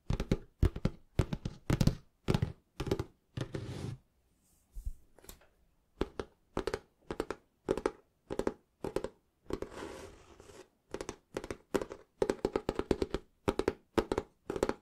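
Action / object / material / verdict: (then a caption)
tap / cloth-bound hardcover book / cloth and board / none. A small, solid, closed hardback book bound in green cloth is tapped and scratched on its front cover with fingertips and short nails. Quick clusters of dull, low, soft taps with almost no ring alternate with a few brief, hissy scratching passages, separated by short quiet gaps.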